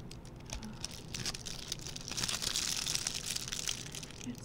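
A small, red, shiny metallic plastic ribbon gift bow, light and hollow-looped, is held in both hands and squeezed and crinkled with the fingertips. The result is a steady stream of dense, irregular, bright crackling and crinkling that grows slightly louder toward the middle, with little low-end weight.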